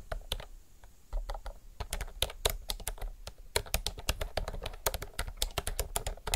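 Fast typing with both hands' fingertips on a retro mechanical typewriter-style keyboard with round plastic keycaps. It makes a rapid stream of short, sharp clacks with bright tops and a low thud under each press. The clacks come in dense bursts with brief pauses between them.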